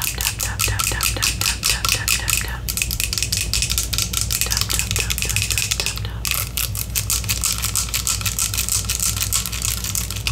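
A small, full clear glass serum bottle with amber-gold liquid and a gold pump top is held in one hand while long acrylic nails tap and scratch its glass sides and label. Rapid, crisp clicks and ticks run continuously over the whole clip above a steady low hum.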